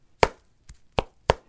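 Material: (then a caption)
Foam. The foam midsole of a Hoka Bondi 7 running shoe is given a thump test: three short, dull thumps, with a fainter one between the first two, each dying away almost at once. The foam sounds dense with little bounce, much denser than Nike ZoomX foam.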